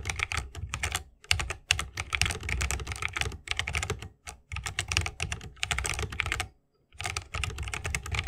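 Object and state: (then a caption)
Mechanical keyboard in a wooden case. Fingertips of both hands type continuously on a 60% mechanical keyboard with plastic keycaps and tactile Holy Panda switches, set in a bamboo wooden case. Dense, bright clacks come with a deep thock underneath, in bursts broken by short pauses and a longer gap near the end.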